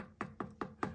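Four light taps on a leather-hard clay pot whose base has been trimmed thin, each a short hollow knock with a low tone near 195 Hz that dies away quickly. The thin trimmed wall sounds different from a thick one.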